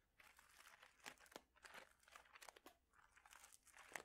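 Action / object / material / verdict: shake / plastic bag of small mosaic tiles / plastic, ceramic / none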